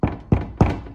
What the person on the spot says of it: it gives the door a nice uh extra weight and thud if you knock on the outside it sounds a little more sturdy